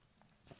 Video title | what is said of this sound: Obris Morgan Explorer Watch Review | if you tap it, it gives a good solid thud and gives you some reassurance that it's not going to break or scratch particularly easily